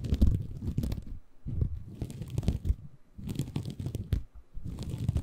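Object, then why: Bamboo fiber sponge. A small, soft, compressible green porous bamboo fiber sponge is held in both hands above a Tascam recorder while fingertips scratch and squeeze it. Muffled, deep crunching and rustling scratches come in dense bursts, broken by short quiet pauses.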